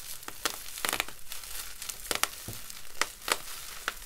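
A clear plastic bubble wrap sheet with hollow air bubbles is bunched, crumpled and rubbed by gloved fingertips and palms. The result is a steady crinkling and squeezing, with sharp, bright crackles and occasional soft pops over a low rustle.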